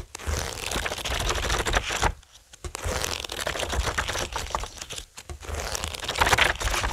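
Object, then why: Thick paperback book with card cover and paper pages. Fingertips tap and drum on the glossy card cover of a thick, solid paperback Watchmen graphic novel lying flat on a wooden table, and its many paper pages are flipped by hand. Dense, rapid papery taps, rustles and crinkling fill the clip, with brief quiet pauses around two seconds and five seconds in.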